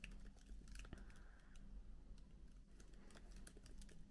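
Both hands type with their fingertips on a MacBook keyboard with plastic keycaps, making a steady stream of soft, quick clicks and taps. The keystrokes are quiet and short with almost no ring. A low, steady hum sits underneath them.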